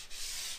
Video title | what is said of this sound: WHY YOUR PAPER TAPE BLISTERED!! | it all sounds the same